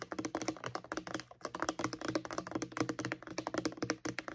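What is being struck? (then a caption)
Plastic mouthwash bottle. Long acrylic nails tap rapidly on the label of a white plastic mouthwash bottle held upright, producing about 30 quick, dry clicks in a steady, dense patter. Each tap is short with almost no ring, carrying a light hollow tone around 300 Hz with bright clicky edges.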